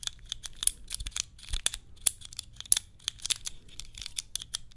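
Long nails tap and click on a small hand-held cube puzzle with clear plastic tiles, held close to the microphone. Quick, dry, bright clicks come in an irregular rapid series, with each one cutting off almost instantly. A faint low rumble sits underneath.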